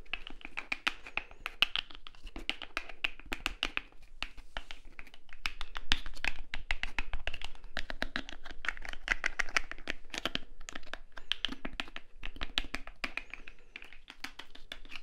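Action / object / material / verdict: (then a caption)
tap / small plastic bottle partly filled with liquid / plastic / none. A small translucent blue plastic cuticle remover bottle with a white cap, partly filled with liquid, is held up and tapped with fingertips and nails around the cap and body. Rapid, uneven streams of short, dry plastic clicks and light taps sound with bright edges and a soft low thump, each dying away almost instantly.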